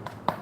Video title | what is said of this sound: K1 Runs is live and let's unboxing together | This kind of foam sound is more to the characteristic of the Zoom X foam